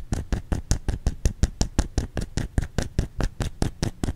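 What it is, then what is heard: Bar of soap. A solid white bar of soap, held in both hands, is tapped and scratched with the fingernails. About 21 quick, dull taps follow one another in a steady patter, each with a short, deep thud and a faint scratchy edge that dies away almost at once.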